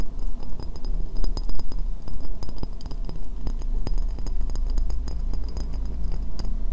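An empty, hollow white ceramic bowl is held upside down while long nails tap and scratch around its foot ring. The result is a steady run of quick, dry clicks and light scraping, with short bright ticks over a low rumble.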